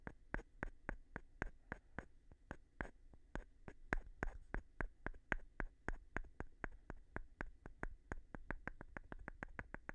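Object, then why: Wooden block and flat stone. A light-colored, palm-sized solid wooden block is tapped and scratched with the thin edge of a flat stone, giving about 40 short, dry clicks at an uneven, fairly quick pace. Each tap is sharp with almost no ring, and a faint scraping texture and a thin tone near 1.6 kHz sit between the hits.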